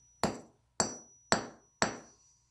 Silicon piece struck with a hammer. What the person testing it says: It breaks apart into little pieces. It is brittle.